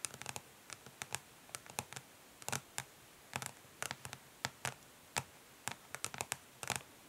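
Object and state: Plastic makeup palette.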